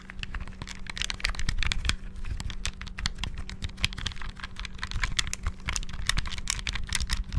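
Fingertips rapidly press and tap the D-pad and buttons of a small, hollow, clear plastic Game Boy handheld with a cartridge inserted, close to the mic. A dense stream of quick, dry plastic clicks with bright ticks rattles over a steady low hum, with no ring after each press.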